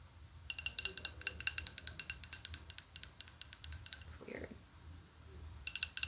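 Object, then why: Glass item. A glass item is tapped in quick, light repeated clicks with a bright, high ring, each hit dying away almost at once. The tapping runs in bursts with a brief pause near the middle and a short lower brushing sound before it resumes at the end.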